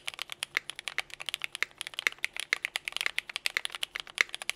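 A compact 60% Nika S mechanical keyboard with a teal case, Cherry Vintage Black switches and white and pink ABS GMK KA2017 keycaps is typed on quickly with the fingertips of both hands. About three dozen short, crisp plastic clacks come in a fast, uneven stream. Each is bright with no low thump and stops almost instantly.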